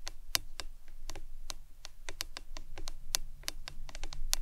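Long acrylic nails tap on a hollow printed plastic lemonade tumbler cup with a green lid, lying on its side on a towel. The taps are quick, light, bright clicks that stop almost instantly, in a rapid, uneven patter over a low, steady background rumble.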